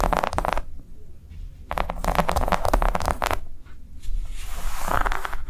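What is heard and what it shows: A round, flat, green ribbed silicone coaster resting on a table is tapped and scratched with long nails. Quick bursts of soft tapping and scratchy rustling come in bunches, with a dull low thud under them and short quieter gaps in between.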